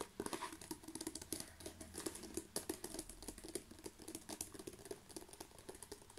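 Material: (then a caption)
Plastic. A long strip of plastic bubble wrap rolled into a tube is rubbed and scratched with fingertips and nails. The result is quiet, dense crinkling and rapid scratchy taps with a bright, hissy edge and very little low end.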